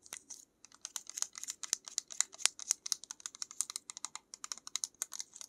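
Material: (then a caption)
Plastic. Long acrylic nails tap quickly on the side and lid of a small white plastic pill-type bottle with a cap and paper label. The result is a fast, uneven stream of sharp, bright, dry clicks that stop instantly with no ring.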